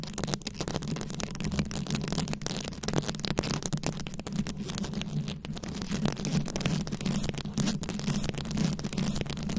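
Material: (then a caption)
Rhinestones. Long acrylic nails scratch and tap a fist-sized microphone head fully covered in small glued-on rhinestones and beads. The result is a dense, continuous scratching texture with rapid clicky taps, riding on a steady low rumble. The sound stays close and even throughout.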